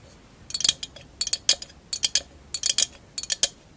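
Long acrylic nails tap a tall, hollow, empty candle holder covered in glass mosaic tiles, held upright. Bright, high clinks come in five quick clusters of taps, each dying away almost at once with no low resonance.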